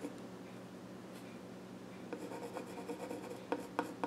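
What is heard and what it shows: A pencil scratches sketch lines across the flat top of a small wooden child's stool. A soft, steady scratching rubs along for the first two seconds, then the strokes grow more distinct and uneven, with four sharper, brighter ticks standing out toward the end.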